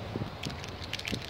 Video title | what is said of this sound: White lettering / painting tires (how to video) | you got to shake these things up they've got a ball in there just like a spray paint can